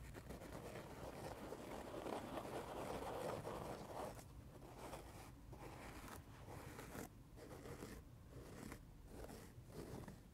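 Fingertips and nails tap and scratch the red surface of a dry, watermelon-shaped foam sponge lying on carpet. A dense, soft scratching rustle builds over the first four seconds, then gives way to lighter, broken bursts of scratching with brief gaps between them.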